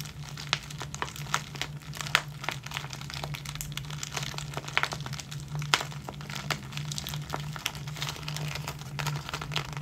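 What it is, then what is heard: Plastic zip bag of clear hair ties. A small clear plastic zip-lock bag full of tiny clear rubber hair bands, with a ball chain attached, is squeezed and crinkled between the fingertips and short nails of both hands. Dense, bright crinkling runs throughout, broken by frequent sharp clicks and crackles over a steady low hum.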